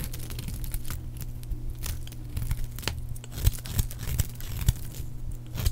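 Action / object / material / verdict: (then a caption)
scrape / bar of soap shaved with a small blade / soap / none. A palm-sized, solid oval bar of dry red soap, held in one hand, is shaved with a small metal blade, producing crisp curls. Dry scraping and cutting strokes crackle and crinkle over a steady low hum, with sharp bright ticks as the blade bites.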